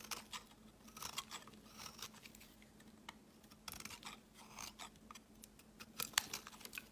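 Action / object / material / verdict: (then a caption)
scrape / bar of soap / soap / none. A utility-knife blade scrapes and shaves crumbly flakes off a solid white, palm-sized oval soap bar held in the hand. Quiet, crisp, bright scraping strokes come in short bursts over a faint steady low hum, and the strokes grow sharper and louder near the end.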